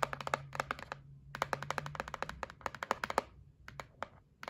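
A white printed cardboard gift box for a facial massage set is held flat and tapped and scratched with long nails. Quick, dry, hollow clicks come in rapid clusters with brief pauses, each tap sharp with a bright edge and almost no ring. A faint low hum sits steadily underneath.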